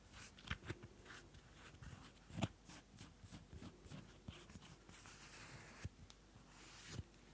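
A small pink card-covered paper notebook has its cover rubbed and scratched with long nails and fingertips, and its pages are fanned. Soft, dry scratching and papery rustling run throughout, broken by five sharper ticks that die away almost at once. The overall level is quiet and close.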